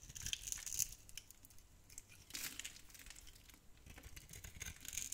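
A metal blade scrapes across a solid, tan, dry bar of soap held in the hand, shaving off crumbly flakes. The sound is a quiet, bright, dry rasping and crinkling, with clusters of scratchy strokes that swell and fade throughout.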